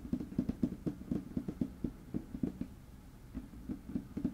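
Fingertips and short nails tap and scratch a large, flat, light wood-grain tabletop close up. Quick, uneven dull knocks centred low around 250 Hz die away almost instantly, with soft scratching filling a quieter stretch in the middle before the tapping picks up again.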